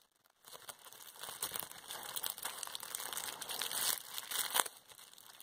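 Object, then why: Plastic bubble wrap sheet. A crumpled sheet of clear plastic bubble wrap is held in both hands while long painted nails pinch its air bubbles. After a brief silence, a steady bright crinkling begins, dotted with sharp little pops and crackles, with a louder pop near the end before it eases off.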